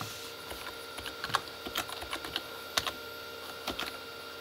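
Both hands type with their fingertips on a full-size Corsair K35 plastic mechanical keyboard with red-backlit keys. The result is a quick, irregular run of light, bright, clicky keystrokes with very short decay over a faint steady hum.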